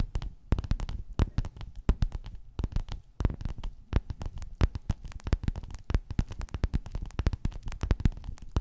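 Long nails scratch and tap quickly across a flat, padded, gold metallic quilted faux-leather cover. The sound is a dense run of short, dull, thumpy taps with soft scratching between them, mostly low and muffled with no ring after each hit.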